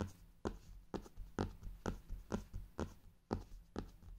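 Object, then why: Faux leather hardcover notebook. Fingertips with painted nails tap and drum on the cover of a brown faux-leather hardcover journal lying flat on fabric, around its gold clock emblem. About ten soft, dull, low thumps land in a loose rhythm, each dying away almost at once with little high content.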